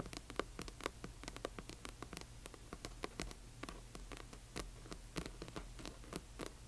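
Long nails on both hands tap and scratch the glossy front cover of a large hardcover book. The result is a rapid, irregular patter of short, bright clicks with light scratching between them, over a steady low hum.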